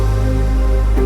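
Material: Nothing is struck.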